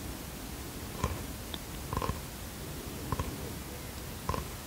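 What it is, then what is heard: Bamboo box. Fingertips and nails tap and scratch a small bamboo wooden box held in the hands. Four short, soft knocks, several of them quick doubles, stand out from a steady low, hissy background. Each knock is dull and low-heavy, with a faint woody mid ring that dies away almost at once.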